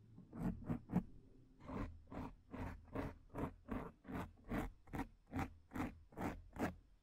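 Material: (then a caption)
Foam. Long nails on both hands scratch the front of a black foam microphone windscreen. Three quick scratches are followed by a steady run of rhythmic rasping strokes, each swelling and fading. The sound is a close, muffled rumble heavy in the lows, with a thin airy hiss reaching high.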